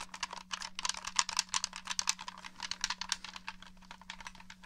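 Fingertips and nails tap and press the buttons and the top of the hollow shell of a black plastic Xbox One controller. The result is a rapid, uneven stream of short, dry, bright clicks and taps with almost no ring, over a faint steady low hum.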